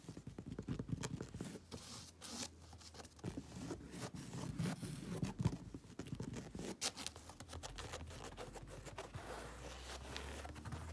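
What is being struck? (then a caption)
Woven fabric upholstered sofa cushion. Long acrylic nails scratch across the grey woven fabric cushion and side panel of a soft, padded upholstered sofa. The result is a steady run of dense, rapid, rough scratching and brushing strokes with a low, muffled body and occasional bright swishes, and each stroke stops dry with no ring.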